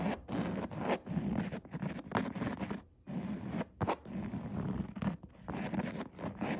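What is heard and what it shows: Nail tips scratch the coarse woven upholstery of a padded chair seat, making dense, dry rasping bursts with brief pauses between strokes. The sound is soft and close, with a warm low-mid body and almost no bright hiss.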